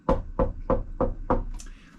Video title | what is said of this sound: Buying an Old Fiberglass Sailboat - The Hull | if you get a nice sharp sound that means that the there's no delamination